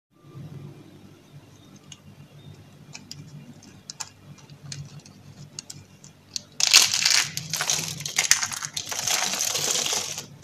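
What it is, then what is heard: Dry soap curls crushed. A pile of pink and cream dry soap curls, thin hollow rolled shavings, is crushed and crumbled in the hand with fingers and long dark nails. First comes a quiet stretch of faint, scattered crisp ticks over a low hum. Then, a little past the midpoint, it bursts into loud, dense, bright crunching and crackling that continues to the end.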